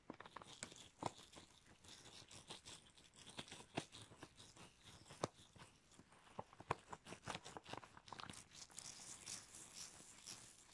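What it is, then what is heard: Rubber gloves being scrunched. Red rubber household gloves worn on both hands are rubbed together, clenched and scrunched at the loose material, giving dense, irregular rubbery squeaks, stretching creaks and crinkly crackles. Sharp, bright snaps stand out from a steady, quiet rustle throughout.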